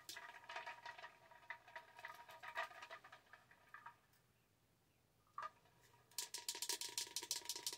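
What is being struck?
Plastic tumbler.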